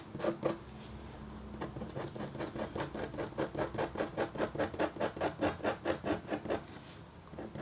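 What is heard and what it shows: A red-handled, metal-tipped stylus scratches short strokes across a flat, black-coated copper foil scratch art sheet. Two quick scrapes are followed by a steady run of dry, bright scratches at about two per second, nineteen in all, each stopping short with no ring.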